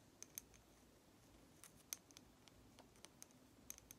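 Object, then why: Lacquered wooden nesting doll. A small, hollow, red lacquered wooden matryoshka doll with a blue flower is held in one hand and rapidly tapped with long nail tips. Thirteen quiet, sharp, bright clicks stop instantly with no ring. They fall in uneven bursts over a faint low background hiss.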